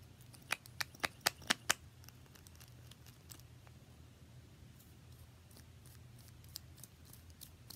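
Long nails tap a small pink plastic lip gloss tube with a metallic cap, held in the fingers. Six quick, sharp, bright clicks come in the first two seconds, followed by softer, scattered taps over a low steady hum.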